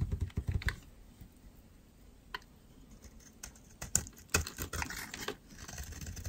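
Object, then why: Soap bar scraped with a metal blade. A metal utility knife blade scrapes and carves dry, flaky curls off a solid pink oval soap bar held in the hand. Short, irregular bursts of dry, crackly scraping come with bright, crisp edges and low, muffled thuds, separated by quiet pauses.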